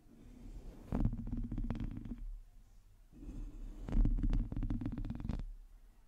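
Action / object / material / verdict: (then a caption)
scrape / metal mesh microphone grille / metal mesh / none. Long teal nails of both hands scratch the top and sides of a black microphone's hollow, domed metal mesh grille. Two bursts of deep, muffled rumbling are heard, each laced with quick, dry scratching clicks, separated by a brief quieter pause.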